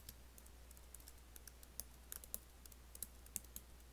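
Fingertips and nails lightly type on an Apple laptop keyboard with black plastic keys set in an aluminium body. About twenty quick, quiet, bright clicks sound in an uneven rhythm, each dying away almost instantly. A steady low hum runs underneath throughout.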